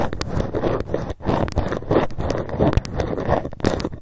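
A ruler is tapped rapidly, and sometimes scratched, with long fingernails. The result is a fast, uneven stream of dull, low-heavy clicks and taps with brief scratchy textures and almost no ring.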